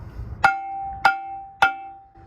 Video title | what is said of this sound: How to fix stuck or locked up brakes on trucks and trailers | you hear that ping? Hopefully that's coming through the phone okay. That's a brake that's released, it's ringing.